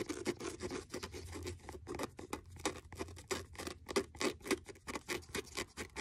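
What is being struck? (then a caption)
Faux leather hardcover notebook. Fingernails scratch the cover and page block of a blue faux leather hardcover notebook with a stitched edge. The result is a quiet, rapid series of short, dry scratching strokes, with a papery rasp centered in the mids and bright, hissy edges that stop almost instantly after each stroke.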